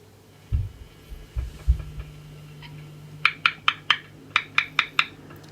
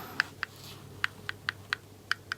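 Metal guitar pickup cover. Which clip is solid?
The first.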